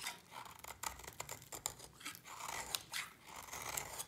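A utility knife blade scrapes curls off a solid white, dry bar of soap. The result is a quiet run of crisp, dry scraping and crunching strokes, bright and airy, with little low end and no ringing after each cut.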